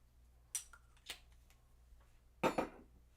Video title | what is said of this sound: Live! A New Obsession! - Let’s Discuss! | did you hear that resonance?